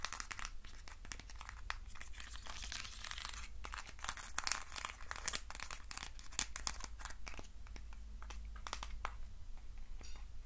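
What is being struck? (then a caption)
Small hexagonal box of thin wooden sticks. Fingernails scratch the ribbed walls of a hand-sized, hollow hexagonal box made of thin wooden sticks. The result is a dense, continuous run of quick, dry, bright scratching and crinkling clicks over a steady low hum.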